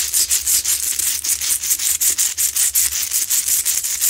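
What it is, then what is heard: Himalayan salt lamp scratched with nails. Long nails vigorously scratch the sides of a lit, medium, solid Himalayan salt rock lamp with a rough crystal surface. Rapid, fairly irregular strokes produce a dry, gritty rasp that is almost entirely high and bright, with no low end. The sound comes in quick back-to-back bursts with short dips between them.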